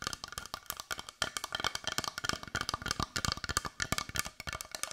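A palm-sized, solid-looking brown carved wooden heart, held in both hands, is tapped rapidly with long white nails. The result is a steady stream of short, dry, woodblock-like clicks with a hollow knock near 1.2 kHz, bright edges and almost no ring.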